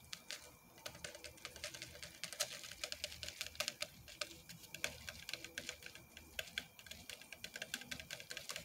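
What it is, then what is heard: Styrofoam drink cup. Fingernails tap rapidly on the side and domed plastic lid of a large, hollow white styrofoam drink cup with a straw. A quick, uneven stream of short, bright clicks with almost no low end, each dying away almost instantly over a faint hiss.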